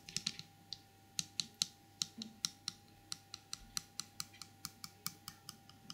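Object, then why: Small porcelain trinket box. Long purple nails tap the lid of a small, empty porcelain elephant trinket box with a green felt-lined inside and its lid off, then scratch inside the hollow box and along its rim. About 25 quick, bright, crisp clicks follow one another at an uneven pace, each dying away almost instantly over a faint steady hum.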